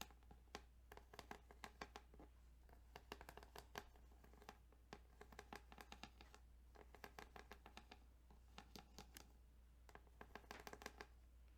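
Fingertips tap and scratch across the ridges of a plastic Tetris Game Boy cartridge, making many quick, dry clicks and scrapes in clustered bursts. The sounds are soft and close, with short bright transients over a steady low hum.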